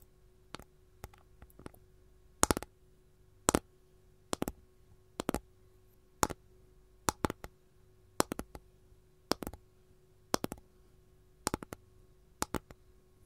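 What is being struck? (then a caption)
Capiz shell tray. Long gold nails tap the side surface of a capiz shell tray. The tray is held edge-on, and the taps come in bursts and quick pairs. Each one is a sharp, bright, dry click that dies away almost instantly over a quiet, faint steady hum.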